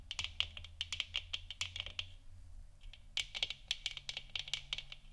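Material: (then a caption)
Plastic. Long nails tap quickly on a large, hollow, textured plastic moon lamp sphere, lit orange and resting on a wooden stand. The taps are short, dry clicks with a bright tone centered near 2.8 kHz. Bursts of taps pause briefly around the middle, with a faint low hum underneath throughout.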